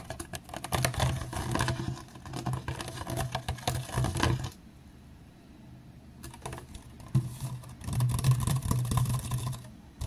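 Fingertips tap and drum on the sides of a clear, ridged PET water bottle that is hollow and appears empty, first held sideways and then stood upright on a mat. Rapid, irregular plastic clicks and hollow thumps come in dense bursts for about four seconds. After a quiet pause broken by a few taps, the drumming resumes, with a low hollow resonance under bright, crisp ticks.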